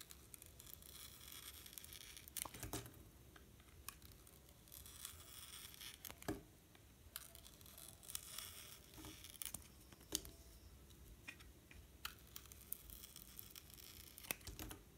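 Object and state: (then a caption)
Bar of soap being sliced. A metal utility knife blade peels and cuts thin slices off a solid pink soap bar with a colorful pattern, held in the hand. Quiet, bright, crisp scraping and tearing sounds run throughout, broken by sharp clicks and snaps as slices come away.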